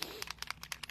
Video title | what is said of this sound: 6-26-24 Learn All About Distress Spritz with Teresa | there's the rattle you can hear. I'll just shake it up.